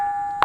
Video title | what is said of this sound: గండి రామన్న క్షేత్రంలో స్వరాలు పలికించే రాళ్లు - Musical Stones In Gandi Ramanna Temple,Nirmal | ఎక్కడ తట్టినా గాని అద్భుతమైనటువంటి శబ్దం వస్తుంది